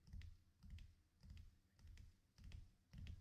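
Fingertips lightly and repeatedly tap or scratch the top edge of the right page of an open vintage paper Star Wars Marvel Special Edition comic book, which lies flat, thin and not hollow, on top of another comic. Quick, soft clicks come in uneven bursts with a low, dull thump beneath, sounding much like typing on a keyboard.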